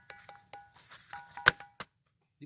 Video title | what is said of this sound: NGOPI di gunung padang sambil jalan jalan,belajar situs PURBAKALA sama kuncen kang DIDI. | bunyinya besi sudah membatu kan